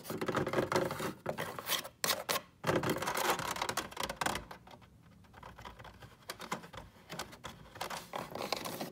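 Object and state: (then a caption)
Wooden box. Fingertips and nails rub and tap the top and front of a flat pine box with a metal latch, lying on a rug. The sound is dense, irregular scratching and quick tapping, with brief pauses near 2 and 2.5 seconds. It drops to a quiet stretch around 4.5–6 seconds, then softer taps and rubs resume.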